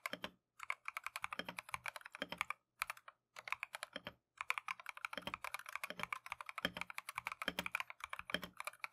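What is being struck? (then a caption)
Mechanical keyboard, plastic keycaps. A compact Keychron V1 mechanical keyboard with Tangerine switches and green and white Matcha plastic keycaps is typed on continuously with gloved fingertips. The result is a rapid stream of short, bright, clacky keystrokes with almost no low end, broken by a few brief pauses.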